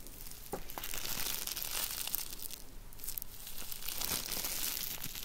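A rolled tube of clear plastic bubble wrap is twisted and crushed between the fingertips of both hands. It makes a steady, dense crinkling with sharp, irregular pops and crackles that flicker across the high frequencies for about five seconds.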